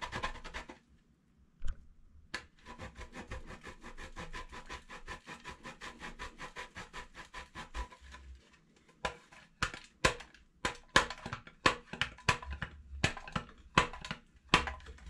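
A solid green embossed bar of soap is grated by hand on the fine side of a stainless steel box grater. A steady run of quick, soft rasping strokes gives way, after a brief pause, to slower, louder separate scrapes with a dry, bright scratchy edge.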